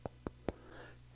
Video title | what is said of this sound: Touring a MASSIVE Multi-Million Dollar Remodel! (World Class Home) | if you knock on these if you can hear it it's like it's made out of stone